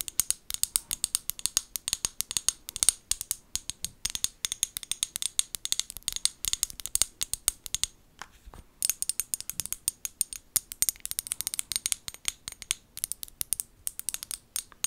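Long nails tap and scratch the sides and white plastic lid of a small amber glass bottle as it is held and turned in the hands. The result is a rapid, nearly continuous run of sharp, bright clicks and scratches with almost no low end, and it pauses briefly near the eight-second mark.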